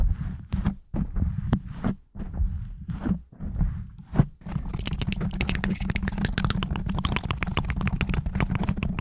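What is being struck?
Foam microphone windscreen.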